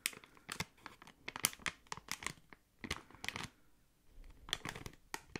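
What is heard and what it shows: A small, thick, hollow clear plastic packaging bag holding a card and a slim item is crinkled and squeezed with fingertips and long nails. Quick, bright crackling bursts come in irregular clusters, separated by brief quiet gaps. The overall crinkle is sharp and high, with little low end.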